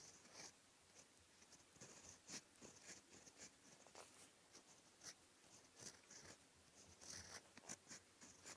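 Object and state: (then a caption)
Fountain pen writing on lined paper. A steel fountain pen nib, held in the fingertips, scratches across a flat sheet of white lined writing paper in slow handwriting strokes. The sound is a quiet, bright, dry scratching made of short, brushy strokes with a few slightly louder accents and almost no low end.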